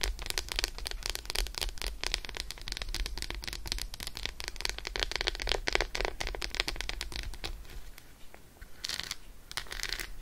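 Long acrylic nails tap rapidly on an unwrapped solid Roshen milk chocolate bar, first as it rests on faux fur and then while it is held. A dense stream of sharp, bright clicks runs over a steady low hum, thins out around eight seconds, then returns in a few short bursts near the end.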